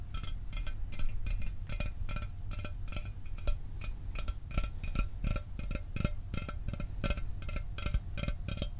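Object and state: Aluminum soda can.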